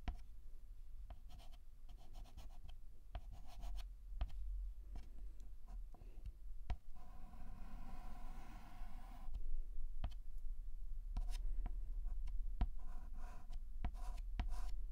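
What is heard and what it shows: White chalk held in the fingertips writes on a black chalkboard in short, irregular strokes and sharp taps, with a scratchy squeal on one longer stroke around the middle. A steady low hum sits beneath the quiet, dry clicks and scrapes throughout.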